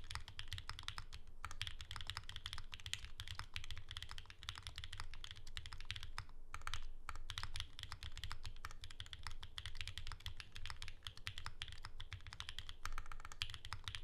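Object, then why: Mechanical keyboard with plastic keycaps. A pink Bear 65 ergonomic Alice-layout mechanical keyboard with plastic keycaps and a hollow case, resting on a desk mat, is typed on continuously with the fingertips of both hands. Rapid, dense key clacks with bright, short attacks ride over a steady low hum around 100 Hz that carries most of the energy, with only brief pauses in the flow.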